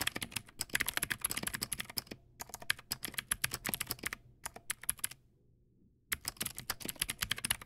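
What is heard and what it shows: Fingertips type on a Teamwolf Zhuque+ X08, a backlit plastic mechanical keyboard with white plastic keycaps and clicky blue switches. Quick, bright, sharp clicks come in rapid bursts, with brief pauses near 2 and 4 seconds and a longer silence between 5 and 6 seconds before the typing resumes.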